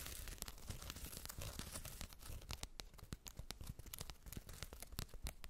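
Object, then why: Faux fur fabric makeup bag with woven label. Long red acrylic nails scratch the woven "BEAUTY BAG" fabric tag and fur surface of a soft white faux-fur zippered makeup bag, closed and lying on a fluffy rug. The result is a dense run of quick, crisp, bright scratching strokes over a soft low rumble, with sharp crackly accents that stop almost instantly.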